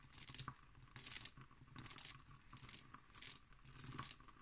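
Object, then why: Cut glass decanter. An empty, hollow hobnail-pattern cut glass decanter with its stopper is tapped and scratched with long green nails. Bursts of bright, rattly glassy clicking and scraping come in an uneven rhythm, each dying away almost at once, with a quiet hum underneath.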